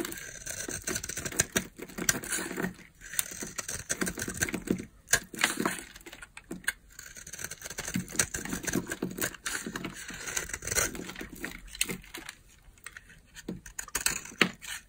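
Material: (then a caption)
Soap. A utility knife blade scrapes and carves a solid oval bar of dry pink soap held in the palm, shaving it into curls and flakes. Dense, crisp crunching and rasping strokes come in quick irregular bursts with a bright, hissy texture and brief pauses between passes.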